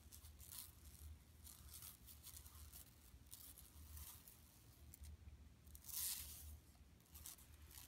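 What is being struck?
Woven plastic mesh bag.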